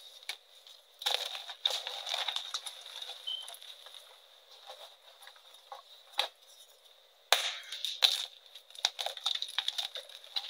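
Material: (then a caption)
Chalk. Solid white chunks of a magnesium carbonate gym chalk block are squeezed and crushed in both hands with the fingertips, crumbling into powder and small fragments. The sound is dry, bright crunching and crackling, arriving in sharp bursts with quieter gritty rustling between them, over a faint steady high tone near 3.6 kHz, with almost no low end.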